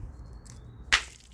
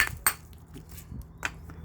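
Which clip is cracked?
The first.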